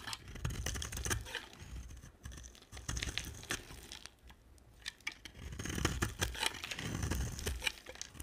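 A hand-sized, solid yellow-and-white striped dry soap bar is held in one hand and shaved with a box-cutter blade. Repeated scraping and carving strokes make dry, crunchy, crackling rasps with bright edges, with a brief lull near the middle. Crumbly chips shed from the bar with each stroke.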